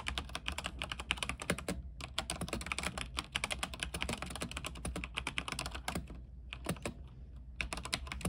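Fingertips type continuously on an RGB mechanical keyboard with white plastic keycaps on an aluminium frame, making a rapid run of short, bright clacks with almost no ring. The typing thins out briefly around two seconds and again between six and seven and a half seconds, over a steady low hum.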